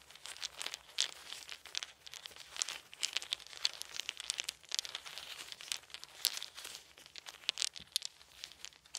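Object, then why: Small wooden beads. Bare hands scoop up a pile of small, solid, round wooden beads from a fluffy blanket, roll them between the palms and let them fall. The result is a dense, continuous stream of quick, bright clicks and rattles with crisp peaks, almost entirely high-pitched with no low end, and each click dies away instantly.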